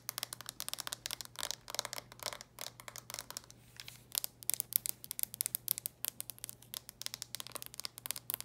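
Long nails tap rapidly over the lid and edges of a red plastic handheld game console held in both hands. The sound is a quiet, dense stream of dry, bright clicks and light scratchy taps that stop instantly, over a faint steady low hum.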